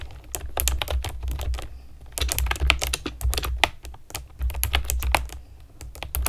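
Long nails and fingertips type rapidly on a pastel plastic keyboard with round keycaps, making a fast stream of sharp, bright clicks and taps. The clicks are short and dry, over a steady low hum.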